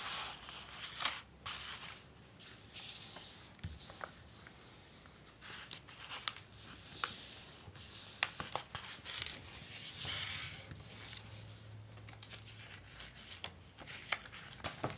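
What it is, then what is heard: Glossy paper dust jacket. Fingertips with long painted nails rub and smooth a large glossy paper dust jacket for a picture book, lying flat and unfolded on a wooden desk. The result is a soft, bright, steady rubbing and swishing of paper, broken by sharp nail ticks and light crinkles.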